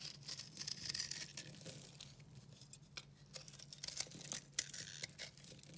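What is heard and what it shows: A solid pale pink and yellow dry recycled soap bar, held in the hand, is carved with a utility knife. Dense, bright scraping and crisp crunching sounds come in quick, irregular bursts over a steady low hum. The soap crumbles as it is cut.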